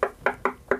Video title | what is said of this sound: Bass Hack: Center Channel "Knock Test" (Mounting Surface, Not Cabinet) | that thing's heavily braced you still get a sound out of it